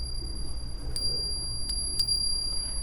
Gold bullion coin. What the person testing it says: very metallic uh high ring that you'll notice on those